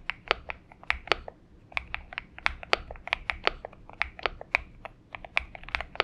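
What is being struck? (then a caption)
Mechanical keyboard with PBT keycaps. Fingertip typing with both hands on a purple Xinmeng M71 mechanical keyboard with PBT keycaps. Quick, bright clacks and taps arrive in uneven bursts with very short decay and almost no low end.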